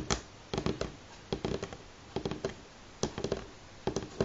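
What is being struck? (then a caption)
Wooden pine tabletop. Fingernails of both hands tap on a solid light pine tabletop, making quick, dry clicks in small bursts separated by short pauses, 17 taps in all. Each tap dies away almost at once, with a hollow woody tone around 400 Hz.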